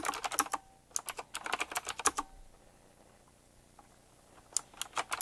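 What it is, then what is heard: Retro typewriter-style mechanical keyboard. Fingertips type on a black retro typewriter-style mechanical keyboard, tapping its round plastic keycaps with metal rims. Quick bursts of sharp, bright clicks with almost no low end fill the first two seconds, then stop for a quiet pause before a few more clicks resume near the end.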